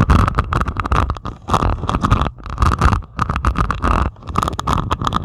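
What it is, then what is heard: Resin diamond painting scratched with nails. Long pointed acrylic nails scratch and tap across a flat diamond painting of plastic resin drills on canvas. Bursts of dense, crackly scratching alternate with quick clicking taps over a heavy low rumble, pausing briefly between strokes.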